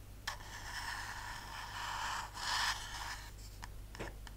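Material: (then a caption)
Metal. Long nails scratch and tap along the printed white-and-purple label of a tall, cylindrical, hollow, pressurized metal aerosol shaving cream can with a white plastic cap, held in the hands. The result is a steady, bright, rasping scrape with a ringing tone near 1.8 kHz, swelling louder around the middle and broken by a few sharp, clicking taps near the end, all over a faint low hum.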